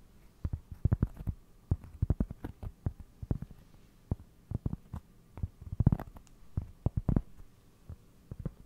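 A round, flat, solid cork trivet held against the mic is tapped and scratched with fingertips and nails. Quick, dull, low thumps come in irregular clusters with almost no ring, and the sound stays deep and muffled with no bright edge.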